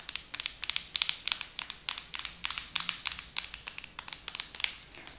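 Long acrylic nails tap and scratch the sides and black plastic lid of a pink plastic hair mask jar. About 30 quick, bright clicks come in uneven bursts, mostly high-pitched and dying away almost instantly.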